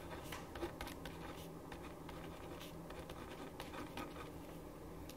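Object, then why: Ballpoint pen on a paper sheet. A ballpoint pen writes on a thin printed paper sheet lying flat on a wooden desk. It makes steady scratching strokes, with brief bright scrapes over a low, constant hum.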